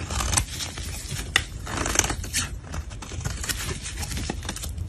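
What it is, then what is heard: Soap bar being scraped. A black blade scrapes and shaves powdery flakes from a smooth, solid, white cream soap bar held in gloved hands. It makes a steady, crisp, bright scraping hiss over a dull low rumble, with a few sharp ticks standing out.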